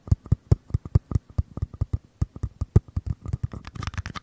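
Fingertips and nails tap and scratch the sides of two identical small, empty, hollow white paper cups held beside the capsules of a Tascam mic. About 25 quick, dry, hollow thumps sit mostly in the low range, each with a faint bright click and almost no ring. Toward the end the taps grow quicker and denser, blending with scratchy paper rustle.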